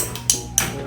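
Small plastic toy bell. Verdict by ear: No ring.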